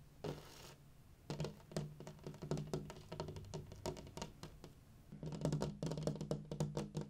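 Fingertips and nails tap directly on the large flat glass pane of a window at dusk, producing a rapid series of short, dull knocks with almost no ring, over a low steady hum. A brief soft hiss opens the clip. After a quieter stretch, the tapping returns louder and denser toward the end.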